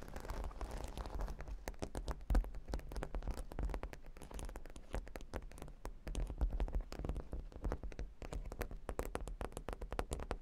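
A flat, solid cork board covered with plastic half-pearl stickers is moved, then long pink nails on both hands scratch rapidly across the studs. The result is a dense stream of quick, dry clicking and scratching taps over a low rumbling undertone, with a brief louder bump early on.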